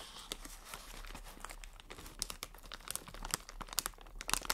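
An inflated, hollow, air-filled strip of clear plastic air cushion packaging is held in both hands while long nails scratch, squeeze and crinkle it. The result is quiet, bright crinkling with a rapid scatter of short, sharp ticks and scratches, over a faint low hum.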